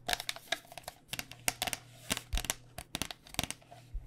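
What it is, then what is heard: Plastic cycling helmet. Fingernails tap quickly on the plastic outer shell of a white cycling helmet, a hollow plastic shell over foam, making about seventeen sharp, dry clicks at an uneven pace. Each tap is bright and crisp with a hollow knock near 700 Hz and dies away almost instantly over a faint steady low hum.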